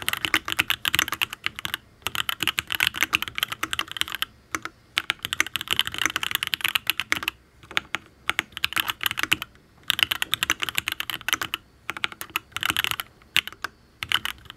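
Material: Aluminium, ABS.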